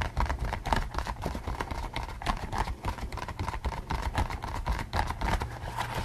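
A pink latex pig mask worn on the head is scratched and tapped with the fingertips. The result is a fast, uneven stream of soft, dull thumps and rubbery scratches, with a muffled low body and a hollow midrange tone near 900 Hz.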